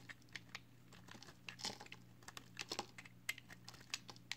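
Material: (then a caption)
Soap. A box cutter blade scrapes along the edge of a solid pale green recycled soap bar held in hand, shaving off flakes. Quiet, crisp, bright scratches and ticks come in irregular bursts, each dying away at once, over a steady low hum.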